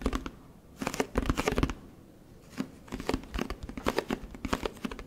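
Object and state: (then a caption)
Plastic detergent bottle. Fingertips tap and scratch a large orange plastic Tide detergent jug and its paper label close to the microphone. Bursts of dry, crinkly scratching and quick, short taps come in clusters with brief quiet pauses between them.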